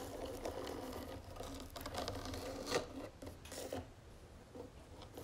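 Long fingernails tap and scratch the lid of a round wooden jewelry box with gold trim, then move to its sides. The result is a continuous, uneven patter of soft, hollow-sounding taps mixed with dry scratching, with a few sharper, brighter clicks standing out partway through.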